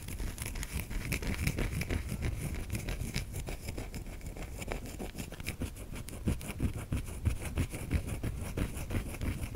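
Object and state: Bar of soap being scraped.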